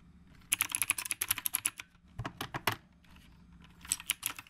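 Fingertips of both hands type steadily on a black retro typewriter-style mechanical keyboard with round plastic keycaps. About 16 sharp, bright, clacky keystrokes come in three bursts separated by short pauses, each tap dry and quickly damped over a faint low background hum.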